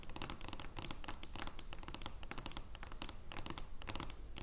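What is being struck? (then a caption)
Large thin cardboard playing card. Long nails scratch quickly across the surface of an oversized, thin cardboard joker playing card lying flat. The result is a soft, continuous run of dry, irregular scratching strokes with bright, crisp bursts over a faint low rumble, staying quiet and close throughout.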